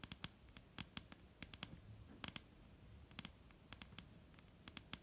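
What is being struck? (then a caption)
Wooden table top. Long painted nails of both hands tap on a solid, dark brown wooden table top. The result is a quiet, irregular patter of sharp, dry clicks with a bright edge and a low, soft thump underneath. Each tap stops almost instantly, with no ring.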